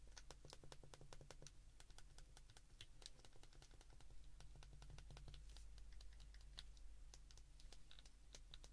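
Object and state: Plastic flip phone keypad.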